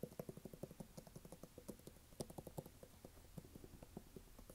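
Fingertips tap and scratch the brown waffle rubber sole of a red canvas sneaker held up in the air. A rapid, uneven series of soft, dull taps with very short decay is heard, along with faint scratching and a steady low hum underneath.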